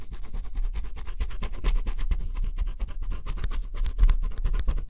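A wooden stylus held in the fingers scratches the black coating off flat, solid, thin cardboard jigsaw puzzle pieces on a table, revealing blue colour underneath. Close-up, rapid, continuous scratching strokes come in short, dense bursts with a heavy low rumble and little bright content, rising and falling steadily throughout.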